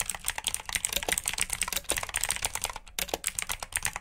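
Fingertips with short nails type steadily on a full-size black plastic mechanical keyboard with RGB backlit keycaps, clicky blue switches and hollow key housings. A rapid run of sharp, bright clicks and clacks with almost no ring, mostly high-pitched with little low end, pauses briefly near the three-second mark before the typing resumes.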